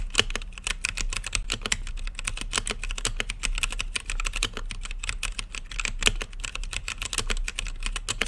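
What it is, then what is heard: Mechanical keyboard with plastic keycaps being typed on. Fingertips type rapidly on a blue-lit mechanical keyboard with plastic keycaps set in a clear acrylic case. A dense, steady stream of short, sharp clacks carries a bright click around 3 kHz over a low thud from each keystroke. Each strike dies away almost instantly.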